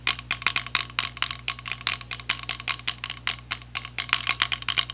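A small, hollow, white and light-blue plastic clip-on selfie ring light is tapped and scratched with fingertips and nails. It gives a rapid, uneven stream of sharp, bright plastic clicks and scratchy ticks that die away almost instantly, over a faint steady low hum.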